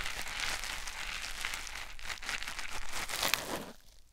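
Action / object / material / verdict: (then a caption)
scrape / foam sponge on a silicone ear microphone / foam / none. A white foam sponge block held in the fingers is rubbed over a silicone ear microphone, producing a steady, bright, crinkly scratching and rustling close to the mic. The textured friction swells in soft pulses and then fades away at the end.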